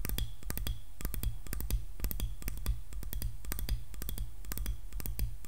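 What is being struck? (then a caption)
Wooden hairbrush handle and back. Long nails tap rapidly and unevenly on the handle and back of a solid wooden hairbrush. Each tap is a short, dry click with a bright edge that stops almost at once, over a steady low hum that carries most of the energy.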